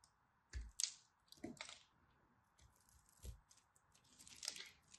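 A craft blade scores and chips the surface of a solid purple-and-white striped dry soap bar held in fingers with long nails. Quiet, bright scratchy crunches and crumbly chips come in short bursts, some with a soft low thump, over a faint steady hiss.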